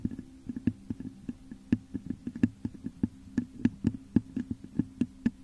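Long nails scratch and tap the top of a hollow, textured clear glass vase turned upside down over a microphone. A rapid, uneven run of sharp taps rings with a hollow, low tone around 230 Hz, and each tap dies away almost instantly under a soft scratchy texture.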